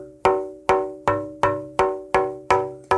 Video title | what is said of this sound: KIM WALKER 03 - Tap Tone Wood | rings and gives quite a bit of reverb to the guitar. Real bell-like kind of sound.